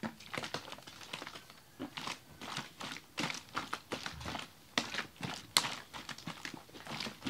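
A large clear ribbed plastic water bottle with a red cap, mostly full of frozen slush, is held in both hands and shaken. It makes a rapid series of sharp, bright crunching and crinkling bursts with quiet gaps between them. The bursts are short and dry, with little low end.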